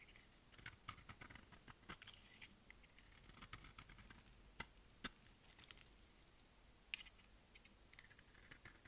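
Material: Soap.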